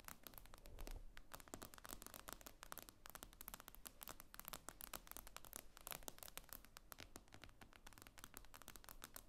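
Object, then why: Tablet with glass screen. Long acrylic nails tap quickly on the glossy glass screen of a tablet lying flat on a table. The result is a fast, steady stream of sharp, bright clicks that stop almost instantly, over a quiet low rumble.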